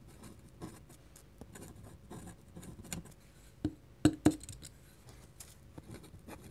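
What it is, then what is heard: Pen nib scratching on paper. A black dip pen's metal nib scratches small looping ink strokes across a flat white paper drawing sheet. Soft, dry scratching and light patter fill the quiet clip. Near the middle come a few sharper, louder ticks.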